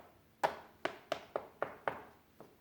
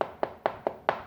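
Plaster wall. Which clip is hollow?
The second.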